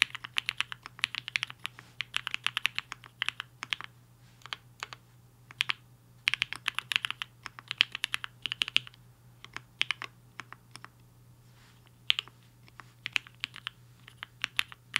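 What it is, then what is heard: Mechanical keyboard with plastic keycaps. Fingertips of both hands type on a black-cased HI-FINGER 7.5, a 75% mechanical keyboard with a hollow case and white and pink plastic keycaps, resting on a desk mat. Bursts of rapid, crisp, bright clacks centered around 2.5 kHz come in quick runs separated by short pauses, each keystroke dying away almost instantly. A faint, steady low hum sits underneath.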